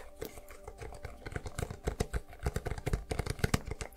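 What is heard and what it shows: Long nails rapidly tap and scratch the lid and edges of a small, hollow, blue lidded cardboard gift box with a textured surface, held in both hands. A quick stream of dry, hollow, low-heavy taps mixes with faint scratching, each tap dying away almost at once, growing louder and more distinct toward the end.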